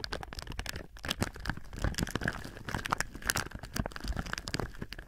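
Palms and fingertips rub and crinkle thin clear plastic film wrapped over a binaural microphone. The result is a steady stream of dense, crisp crackles with sharp, bright snaps layered over a low handling rumble, and each snap stops almost instantly.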